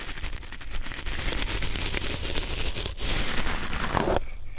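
A red nylon fiber scouring pad is pressed between two pencil microphones, producing a dense, crinkly scratching and crackling across the clip. The sound stays steady with low rumble and bright fibrous rustle, then thins out abruptly near the end.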